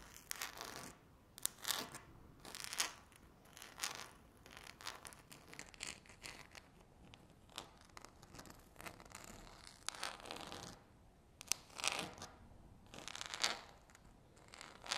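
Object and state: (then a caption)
Laminate tabletop scratched with nails. Two very long, curved natural nails scratch a flat, solid speckled laminate tabletop. The result is a series of quiet, bright, rasping scrapes and scratchy strokes of varying length with brief pauses between them.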